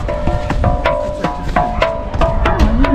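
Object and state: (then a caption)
Resonant musical stone. A resonant Gobustan musical stone (gaval stone) is struck repeatedly in a loose rhythm, giving bright, wood-block-like knocks with short ringing tones that fade quickly between strikes. The rock works, producing a clear musical percussive sound.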